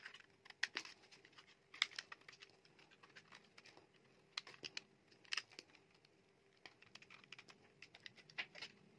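A metal utility knife blade carves shavings off a small piece of solid, dry yellow bar soap with a pale core. About twenty crisp, bright scraping crackles and clicks come in uneven bursts, each dying away at once, over a faint steady hum in a quiet space.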